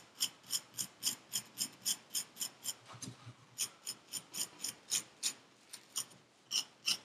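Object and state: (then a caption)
Kinetic sand scraped in a paper cup. A gloved hand scrapes the surface of purple kinetic sand packed into a paper cup with a metal needle tool, raking grooves into it. About 22 short, bright, raspy scrapes come at an uneven pace, roughly three per second, with almost no low end. Each stroke stops quickly with little ring, and the overall level stays quiet.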